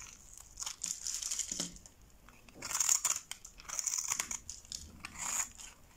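A metal box-cutter blade scrapes and shaves brittle flakes and slivers off a hand-held, solid rectangular bar of dry light-blue soap scored in a grid, and the shavings fall into a pile below. The sound is a bright, crisp, crumbly scratching that comes in uneven bursts with short quiet gaps, almost entirely high-pitched with very little low end and no ring after each scrape.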